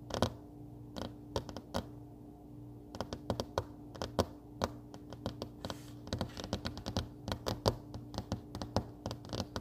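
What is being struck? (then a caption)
Paper desk calendar pad on a wooden table. Long fingernails on both hands tap and scratch a flat paper desk calendar pad lying on a solid wooden table. The result is a quiet run of short, dry clicks and brushy scratches in irregular, quick bursts, with a pause near the start, over a steady low hum.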